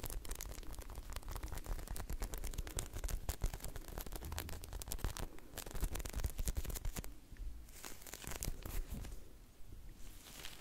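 A hand-sized, soft, solid striped ice-cream-cone squishy toy made of polyurethane foam is held in both hands and squeezed and scratched with long lilac nails. A dense run of rapid, dry crackling and tearing-like scratches is heard over a low rumble. The scratching thins out and grows quieter in the last few seconds.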